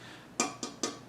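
Three quick taps on the tempered glass side panel of an Apevia Aura RGB Pink PC case. Each tap gives a short, bright glassy click with a brief ring.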